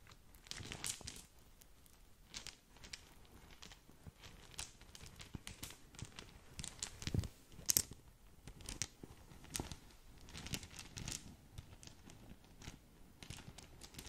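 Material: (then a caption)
Satin fabric. Long nails scratch and rub across the surface of a small green polka-dot satin drawstring gift bag and crinkle the fabric. The result is a quiet, steady stream of crisp, bright scratching and rustling bursts, with a few sharper crinkles standing out.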